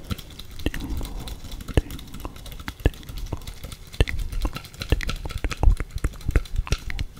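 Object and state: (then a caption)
Plastic tape measure. Black nitrile-gloved fingertips repeatedly tap a hand-sized yellow plastic Stanley 8 m tape measure case, a hollow housing with metal tape inside, held close to the microphone. Irregular light taps give dull, low hollow knocks with brief bright clicks that die away almost at once.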